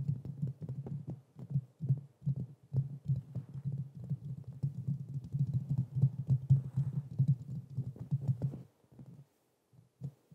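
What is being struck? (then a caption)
Metal mesh microphone grille. Fingertips and nails tap and scratch quickly on the hollow metal mesh grille of a black Blue Yeti microphone. The result is a dense run of short, dull, low thumps with almost no ring and only faint brighter scratchy detail. The taps stop briefly near the end, and a few more follow.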